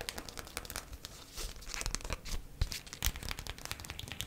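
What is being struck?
Folded beeswax-coated cotton food wrap.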